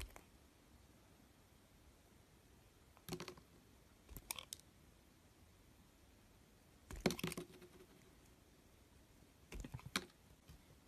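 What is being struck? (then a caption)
Bar of soap shaved by a thin metal blade. A thin metal blade scrapes and shaves the surface of a hand-held solid pink oval bar of soap with an embossed logo. Four short bursts of crisp, crackly scraping stand out against near silence, each a quick cluster of bright, dry clicks that stop almost instantly.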